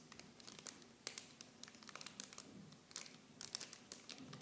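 A small clear plastic film bag holding blue plastic mini shampoo bottles is turned in both hands while fingertips and long painted nails squeeze and crinkle it. Quiet, bright crinkling comes in a dense stream of sharp, dry crackles with almost no low end. Each snap dies away instantly.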